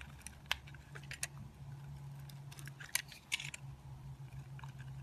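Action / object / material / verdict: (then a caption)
scrape / soap bar scraped with a metal blade / soap / none. A metal utility knife blade scrapes and carves a solid rectangular white soap bar held in the fingers, with the shavings piling up on a granite counter. Crisp, bright scraping ticks and short cuts sound over a steady low hum. A few sharper snaps stand out among the softer shaving strokes.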